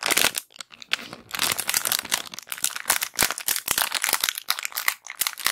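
A small clear plastic bag with white cotton pads inside is gripped, crinkled and scratched with long black acrylic nails. Dense, bright crinkling comes in quick bursts, with many sharp crackles and short scratches that fade almost instantly.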